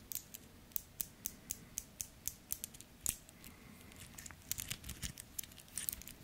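A two-tone steel and gold metal wristwatch with a link bracelet, held close in the hands, is tapped with fingertips and nails, and its bezel and links are clicked. A steady run of short, bright metallic ticks gives way to a louder click and then a denser, irregular cluster of taps and clicks. Each hit dies away almost at once, with little low-end weight.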